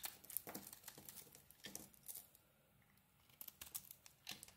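A utility knife blade shaves crumbly flakes off a solid yellow bar of soap with a red edge, held in the hand. Quiet, bright, crisp scraping and crackling comes in short bursts, with a brief near-silent pause midway before the shaving resumes.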